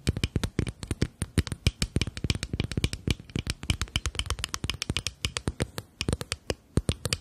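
A small rectangular glass foundation bottle with a black cap and beige liquid inside is held up while long nails tap and scratch its flat faces. A rapid, steady stream of short, dry clicks runs throughout, each with a low thump and a bright glassy tick, mixed with light scraping.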